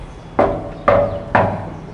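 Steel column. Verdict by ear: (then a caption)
Hollow. Three knocks on a hollow steel column that runs all the way up the house. Each knock gives a short, hollow metallic ring with a tone around 566 Hz that fades within a fraction of a second.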